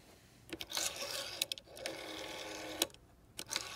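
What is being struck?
Clear plastic rotary phone dial.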